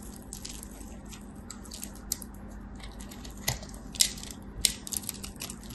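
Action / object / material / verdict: scrape / solid soap bar shaved with a blade / soap / none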